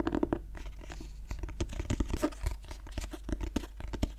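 Fingertips and nails scratch across the embossed cloth front cover of a black clothbound Dorian Gray hardcover held closed in both hands. The result is a quick run of soft, dry, scratchy scrapes and taps, mostly low and muffled, with no ring after each stroke.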